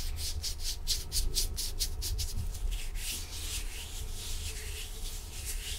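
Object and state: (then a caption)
Nitrile gloves rubbing. Thin, dry, clean blue nitrile disposable gloves worn on both hands rub and slide against each other, palms and fingers together. A quick run of bright, swishing strokes comes about four per second, then settles into a smoother, continuous rubbing hiss over a steady low rumble.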